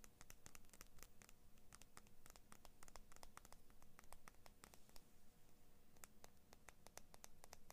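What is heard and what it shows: Long nails scratch along the metal blade of small scissors with orange and blue plastic handles, held in both hands, and the blades are opened partway through. The result is a quiet, steady stream of quick, bright, dry scratches and ticks over a low, soft rumble, with each scrape dying away almost instantly.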